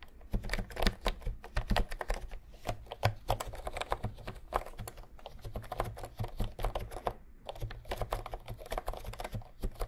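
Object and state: Plastic keyboard keys being typed.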